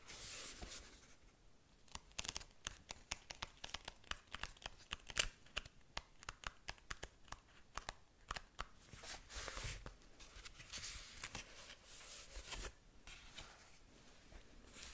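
Long nails scratch and rub the paper pages of a small paperback manga held open. A quiet run of sharp, dry, bright scratches and ticks gives way to softer, continuous rubbing and brushing of the paper.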